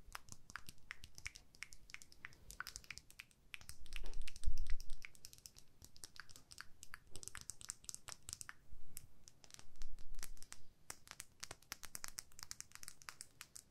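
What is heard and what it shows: Long nails tap and scratch a small clear plastic lip gloss tube with pink gloss inside, held upright and then laid flat. Rapid, uneven, bright plastic clicks and scratchy rasps fill the clip, with a few louder, duller swells in the middle and near the end.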